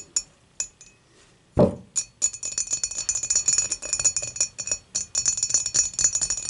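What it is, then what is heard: Glass beer mug. Long matte nails tap the base and wall of a clear, dimpled, empty glass beer mug lying on its side. Sparse bright clinks with a steady high ring give way, after one louder, fuller knock, to a quick, continuous run of light glassy taps.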